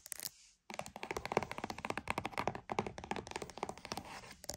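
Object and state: Cardboard box.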